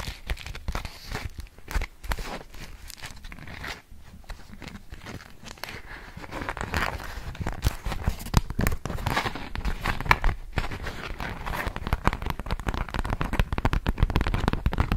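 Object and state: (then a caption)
Beeswax-coated cotton food wrap. A yellow polka-dot beeswax-coated cotton food wrap is held behind the microphone while long nails scratch and tap it. The result is a dense run of short, dry crinkles, crackles and taps with a low, muffled body, growing busier and louder toward the end.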